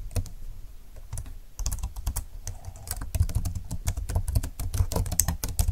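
Both hands type quickly on a slim computer keyboard with plastic keys and a grey frame, lying flat on a desk. Fingertips tap out a fast, uneven run of short, dry clicks, each with a soft low thump and a bright tick that stops almost at once.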